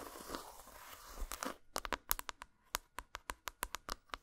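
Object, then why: Textured dark chocolate bar. Long pointed acrylic nails scratch and tap across the top of a flat, rectangular, unwrapped solid dark chocolate bar with a dotted textured surface, lying on a towel. A soft, grainy scratching hiss for the first second and a half gives way to a quick series of crisp, bright, clicky taps with almost no ring, each clearly separated by brief silence.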